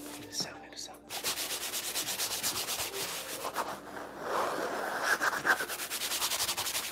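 Fingertips and nails scratch and rub over a painted stretched canvas held up close. A dry, bright rasping sounds in quick rhythmic strokes after a brief quiet start, growing louder and grittier toward the end.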